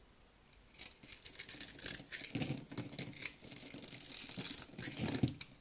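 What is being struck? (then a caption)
Bar of soap scraped with a knife. A utility knife scrapes across a solid, pale green bar of dry soap held in hand and pre-scored into a grid, breaking off small crunchy cubes and shavings. After a quiet start, dense bright crunching and crackling scrapes run almost continuously with dull low thumps underneath, peaking in a sharp crack near the end.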